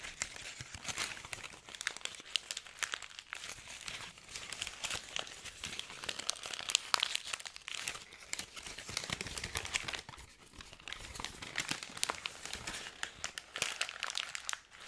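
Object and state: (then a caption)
Crumpled paper. A hand-sized ball of crumpled white paper is squeezed and crinkled between the fingers of both hands for about fifteen seconds. It makes a steady, quiet stream of dense, bright crackles and crisp snaps with almost no low end, each crackle dying out instantly, with a brief lull near the ten-second mark.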